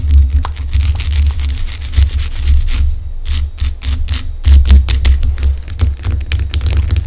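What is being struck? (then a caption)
Rock salt lamp. Long acrylic nails rub and scratch across the rough surface of a large, solid pink Himalayan rock salt lamp. Rapid, bright, gritty scratching strokes sit over a steady low hum, with a brief thinning of the scratches around the middle before dense scratching resumes.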